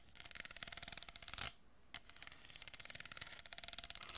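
Long painted nails scratch and rub an empty, hollow kraft cardboard tube about 25 cm long, with a row of small plastic pearl beads glued along one side, held close to the microphone. A rapid stream of bright, crisp clicking and scraping builds to a louder rub, then pauses briefly before resuming in an even, ticking rhythm.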